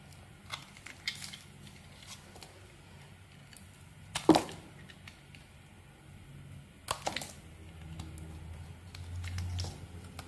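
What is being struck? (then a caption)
Bar of soap. A small metal blade scrapes and shaves curled flakes off the face of a solid, rectangular, cream-colored bar of soap held in one hand, with the shavings piling up on a table. Soft, dry scratching and crinkly shaving sounds come in short bursts, with two louder, sharper cuts near the middle, over a quiet low hum.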